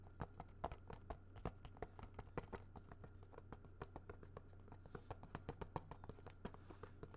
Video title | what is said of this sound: Whats in the Vault? Movies R Us (ASMR, Tapping, Soft Spoken) | this is definitely a much harder plastic sounding